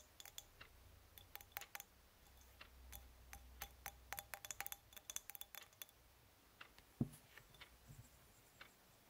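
A small, hollow, polished titanium antistress egg is held and twisted between the fingers, producing a quiet, irregular series of short, bright clicks and ticks. It is then set down with a slightly louder knock and spun on a linen cloth, giving a few softer clicks.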